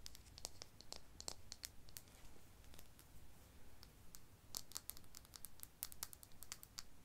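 A medium frosted glass serum bottle of The Ordinary Niacinamide, apparently full of liquid and with a white dropper cap, is held in the hands and tapped and clicked with long painted nails. The result is a quick, irregular run of sharp, bright clicks and taps that die away almost at once, over a low, quiet background rumble.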